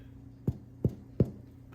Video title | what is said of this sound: Artisan sourdough bread recipe #bread #sourdoughbaking #sourdoughclub #sourdough #sourdoughbread | when you thump it it sounds Hollow like a hollow door